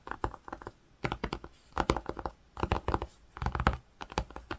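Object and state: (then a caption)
Woven cotton fabric scratched and tapped. Fingertips and nails rapidly scratch and tap across the surface of a grey-green woven cotton fabric. Quick bursts of dry, scuffing scratches and soft taps arrive in clusters separated by short pauses. Each sound is brief, with a muffled, low-heavy body and little brightness.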